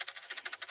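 A corrugated seed drill tube is tapped several times in quick succession, giving short, bright, dry clicks with no low end. The tube sounds clear, with no seed hung up inside.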